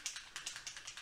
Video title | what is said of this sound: How to Make this Alcohol Ink Tin Leaf Decor with Craft Warehouse | you'll hear that clicking in the bottle